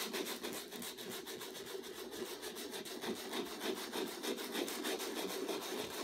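Fingertips rub a small folded piece of sandpaper back and forth across a stretched canvas, roughly 30 cm square, covered in thick white and turquoise acrylic texture and lying flat on a table while the other hand steadies it. Quick, fairly even strokes, about three per second, produce a dry, gritty rasping with a bright hiss over a midrange scratch.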